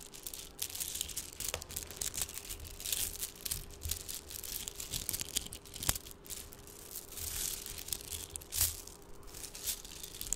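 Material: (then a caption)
Plastic. Strands of small shiny red plastic beads in the Mardi Gras style, likely hollow, are held in the fingertips and rolled, rubbed and shaken together close to the microphone. The result is a continuous bright, crackly rattling and clicking with dense bursts of tiny ticks and a few sharper clacks. A faint steady low hum runs underneath.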